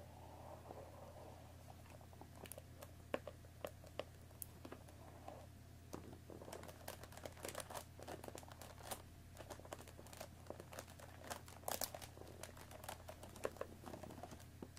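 Long fingernails tap and scratch along the top edge of a hollow cardboard Earl Grey tea box with tea bags inside. Quiet, dry, clicky taps mix with scratchy crinkling that grows busier as the clip goes on. A steady low hum runs underneath throughout.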